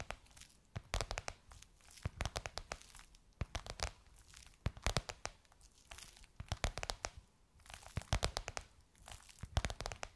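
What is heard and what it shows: Long nails tap and scratch across a gold crocodile-embossed faux leather cover on a soft cushion. Clusters of sharp, dry taps and crinkly, tearing-like scratches come in bursts with brief pauses between them. Each tap has a soft low thud underneath and a bright, crackly edge that dies away almost instantly.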